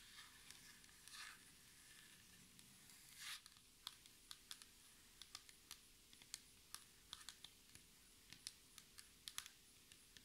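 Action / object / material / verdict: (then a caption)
tap / laminated board tabletop tapped with acrylic fingernails / laminate / none. Long red acrylic nails on both hands tap a flat, solid black textured tabletop, likely a laminated board. After a couple of soft scratchy brushes early on, a steady series of short, sharp, bright clicks follows, each dying away almost instantly. The taps are quiet, over a faint, steady low hum.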